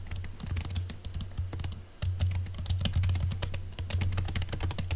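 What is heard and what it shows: Both hands type rapidly with their fingertips on a silver laptop keyboard covered by a thin green silicone skin. The result is a dense run of soft, muffled key taps with bright clicky edges, over a steady low hum that dips briefly around the two-second mark.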